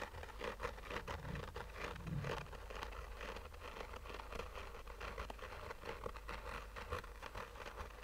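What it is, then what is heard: Fabric-covered hard sunglasses case, scratched. Short fingernails scratch a black, oval, textured fabric sunglasses case with a hollow rigid shell. The result is a soft, continuous run of raspy, patter-like scratches with a hollow midrange tone. A steady low rumble sits underneath the scratching.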